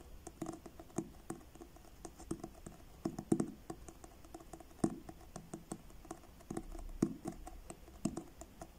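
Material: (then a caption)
Card. Fingertips and short nails tap the front cover of a blue card-covered paperback book held upright. The result is a steady run of soft, dry, papery taps with a dull low-mid body and brief ticks, each dying away almost at once against a quiet background.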